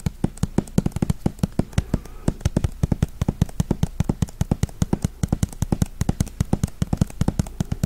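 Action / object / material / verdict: tap / hardcover book with cardboard cover and paper pages / cardboard, paper / none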